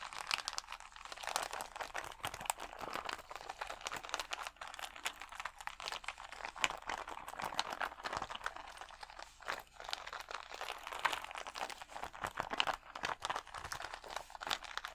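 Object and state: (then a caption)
Plastic rhinestone sticker sheet. Fingernails scratch and rub the acrylic gems on a clear plastic rhinestone sticker sheet held against the chest. The result is a steady, dense run of crisp crinkling and crunchy clicks, bright with almost no low end, continuing for the whole fifteen seconds.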